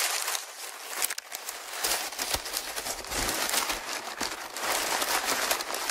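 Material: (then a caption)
Paper. A large sheet of thin, crumpled brown kraft packing paper is held in both hands in front of a Tascam recorder and squeezed and crumpled by the fingers. A steady, bright crinkling rustle runs throughout, with sharp crackles popping out of it and almost no low end.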